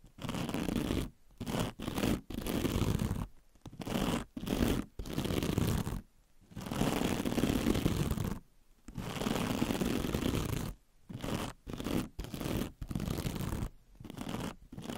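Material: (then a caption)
Metal mesh. Long red nails scratch across the textured surface of a hand-sized sponge with a glittery metallic scouring mesh cover. Bursts of dense, rough scratching come in strokes of about half a second to two seconds, separated by short silences. The scratching carries broadband noise with most of its energy low.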